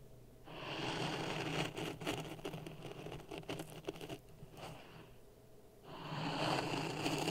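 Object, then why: Sand in a plastic cup. A wooden stick pokes and stirs dry sand in a clear plastic cup resting on top of a red microphone. It makes a gritty, hissing scrape with crackly grain ticks that fades to a soft rustle midway. Then the stirring swells back up.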